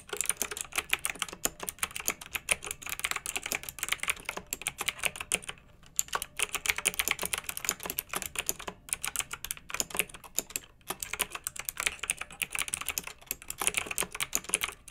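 Both hands with long nails type steadily on a pink, backlit, retro plastic mechanical keyboard with round keycaps. Rapid, bright, crisp clicks and clacks with almost no low end and no ringing run continuously, with brief pauses near 5.5 and 11 seconds.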